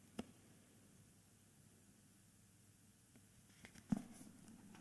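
Fingertips and short nails tap and scratch the front cover and edges of a thick, solid, handheld "Meistererzählungen" hardcover book with a glossy paper dust jacket. The result is a few soft, dry, dull taps, one near the start and a louder one near the end. A faint papery scratching rustle sits between and after them, all very quiet with no ring.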